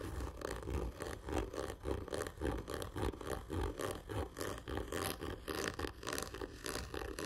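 One hand scratches its fingernails hard and slow across a large, hollow, black printed cardboard whisky gift tube lying horizontally. The steady, rhythmic rasping strokes carry a hollow, low-mid resonance from the tube, with little bright content.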